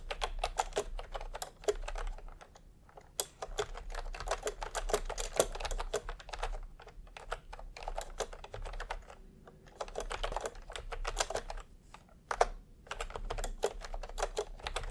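Fingertips type on a full-size plastic retro keyboard with a peach plastic case and round, typewriter-style plastic keycaps. Rapid, dry clicking taps come in bursts with short pauses between them, each tap sharp and quickly decaying over a faint low hum.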